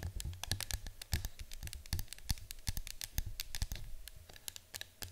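Long nails rapidly tap and scratch the side of a yellow cylindrical cardboard citronella canister resting on a table. The result is a quick run of short, dry, bright clicks with light scratching between them, over a steady low hum.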